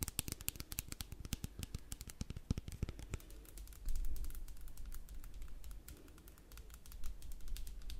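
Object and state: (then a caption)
Plastic spray bottle. A partly filled clear plastic spray bottle with a printed label is tapped quickly with long black pointed nails, close up. Rapid, dry, clicky taps with sharp, bright attacks and almost no ring ride over a steady low rumble. The tapping is dense in the first few seconds, then thins into a sparser, uneven patter.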